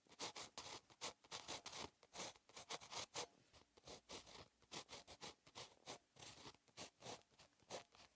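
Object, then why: Paper notebook page under a ballpoint pen. A ballpoint pen tip scratches across a lined paper notebook page, a solid flat sheet, while handwriting. A steady stream of short, bright, dry scratching strokes with almost no low end continues throughout.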